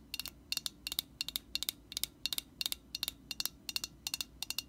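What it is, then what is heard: Metal aerosol spray can. Long nails tap on a hand-held Static Guard aerosol can, a metal body with an orange plastic cap. About twenty quick, bright clicks come in small clusters, each ringing only briefly with a high metallic tone over a quiet background.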